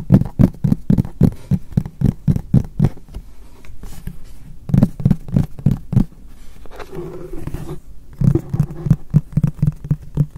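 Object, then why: Frosted polypropylene storage box. Fingertips and short nails of both hands tap rapidly on the face of a medium, white, frosted translucent polypropylene storage box, Muji-style, hollow and apparently empty, held upright. The taps are dull, low, hollow thuds with almost no ring, coming in three quick runs separated by short pauses, with a soft low rumble during the second pause.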